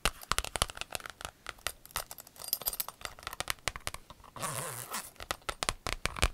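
Long acrylic nails tap rapidly across a flat, empty rainbow clear vinyl pencil case, making dozens of short, bright clicks with soft plasticky crinkle. Around the middle, a steady scratching rub over the vinyl gives a sustained, hissy crinkling before the quick tapping resumes.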